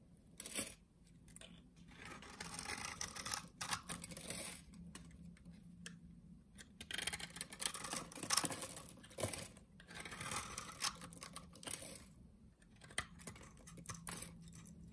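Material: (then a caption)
Soap. A solid blue soap bar with a scored surface, held in the hand, has small cubes sliced off it with a utility knife. Quiet, bright crisp cuts and scraping strokes come in clusters, with soft crumbling between them over a faint low hum.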